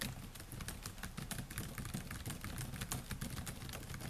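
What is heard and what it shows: Fingertips type rapidly on the black plastic keys of a silver laptop's keyboard. A dense, steady stream of quick, bright clicks sits over a soft low thud from each keystroke, with no pauses for the whole clip.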